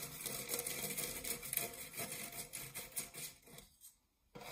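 Fingernails scratch the ribbed side of an empty, dark metal springform cake pan near its latch, then move to the base. The result is a bright, dry, rasping scrape in quick, uneven strokes with a faint metallic edge. It fades to near silence toward the end before a last scratch starts.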